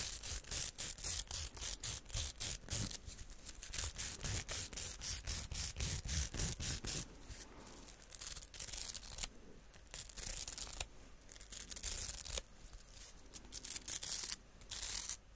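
Long painted nails and fingertips scratch and rub a small, hollow, pink-purple plastic hair roller with a bristly velcro-style surface, held close up. Rapid, fairly steady strokes produce bright, crackly scratching bursts over a low rumble. The strokes soften and grow sparser in the second half before picking back up near the end.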